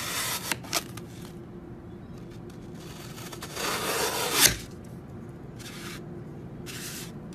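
A serrated metal knife held by hand saws and scrapes down through a large, solid, brick-sized block of green Oasis floral foam on a white surface, shaving off crumbly foam. Bright, dry rasping strokes are heard, with two short sharp ticks near the start and a longer scrape that swells to a peak before falling quiet. Fainter scraping passes follow.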